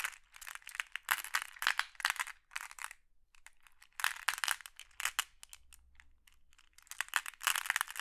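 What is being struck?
Pile of small glass pebbles in a wooden tray.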